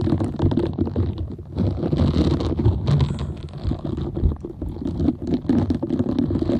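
Long nails scratch over the bristled surface of a half-round green silicone scrubber pad with dense soft nubs. The result is a steady, dense, muffled scratching and rubbing with a low, rumbling body and quick, soft flutters of texture, swelling and easing without pause.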